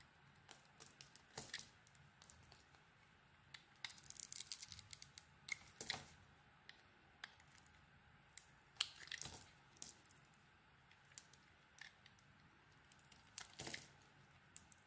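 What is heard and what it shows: A utility knife blade shaves a solid, translucent bar of soap with an orange outer layer, making quiet, crisp scraping and crackling sounds. The short, bright strokes come in irregular bursts with brief, louder rasping passes, separated by near silence and with almost no low end or ring.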